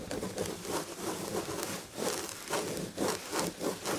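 Long red nails scratch quickly across the textured red and gold tapestry fabric of a padded chair back. Dry, rasping bursts of scratching rise and fall in a steady rhythm, with a bright hiss over a soft midrange body.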